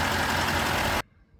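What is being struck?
Nothing is struck.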